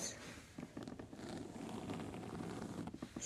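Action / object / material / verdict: tap / faux leather tote bag / faux leather / none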